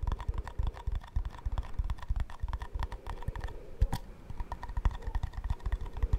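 A small, round plastic shaving cream tub with an embossed lid, apparently full, is tapped quickly with fingernails on its lid and sides. The taps form a dense run of short, dry clicks with a low thump under each one. The clicks come in uneven bursts across the whole clip and die away almost at once.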